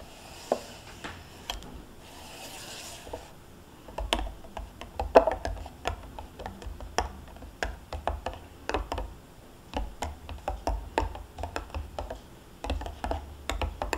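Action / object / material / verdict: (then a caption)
scrape / plastic yogurt cup with foil lid / plastic / none. Long painted nails tap and scratch the foil-and-plastic top of a small, full, sealed single-serve Greek yogurt cup sitting upside down on a cloth, with a metal spoon lying untouched beside it. Dozens of short, dry clicks and taps with very little ring come in irregular bursts, mixed with soft scratchy rubbing and a brief bright hiss near the start, all over a low, steady rumble.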